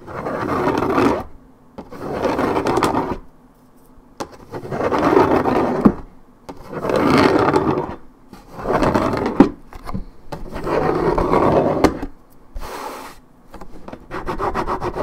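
Long nails scratch quickly across the top side of a hollow, coated paperboard orange juice carton held steady. About eight bursts of dry, raspy scratching are heard, each lasting a second or so and separated by brief pauses. The sound sits mostly in the low-mid range, with little deep bass or bright content.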